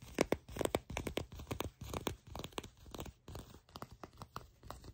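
Fingertips and long nails scratch and tap shiny olive-brown soft leather pants near a seam, held up close. About two dozen quick, uneven, dry crackling scratches and soft taps follow each other, with short bright edges and almost no ring.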